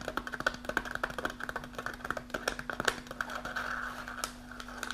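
Long nails tap and scratch quickly on the front of an upright, partly full kraft paper snack pouch. About two dozen sharp, crisp papery ticks with a resonance near 1.5 kHz come fast through the first three seconds. They then blur into a brief rustling scratch before a few last taps, over a faint steady low hum.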